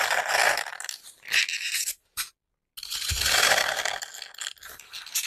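Long nails and fingertips repeatedly poke into the top surface of a large, solid, porous grey-green floral foam brick, punching small holes and crunching the foam. Dense, bright crackling and scratchy crunches come in uneven bursts, broken by a brief silence before the crunching resumes.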